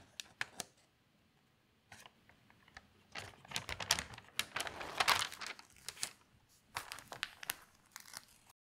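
Both hands flatten an open spread of thin newsprint newspaper on a table, then lift and turn a page. A few sharp paper ticks give way to a dense burst of bright, crisp crinkling and rustling in the middle, followed by scattered crackles as the page settles. The sound is high and papery, with almost no low end.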